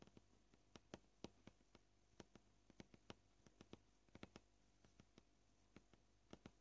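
Short purple-painted fingernails tap the edge and surface of a solid white plastic cutting board, making about 25 quiet, dry, clicky taps at an uneven pace. Each tap dies away almost instantly over a faint low hum.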